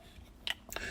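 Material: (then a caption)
Plastic. A coin sealed loose in an old-style PCGS plastic graded holder, known as a "rattler" slab, is shaken. With no protective ring to seat it, the coin rattles inside the holder. Two short, bright clicks are heard about a quarter second apart.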